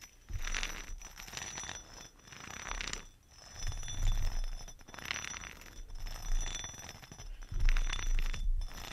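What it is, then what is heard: Sharpening stone. A chrome metal facial roller with two round heads is rolled and scraped along the top and edge of a rectangular, solid two-tone whetstone with a grey-green top and tan bottom layer, held in a hand in a fuzzy glove. The sound is a gritty, continuous rubbing and scratching that swells and fades in waves over a low rumble, with faint bright metallic clinks.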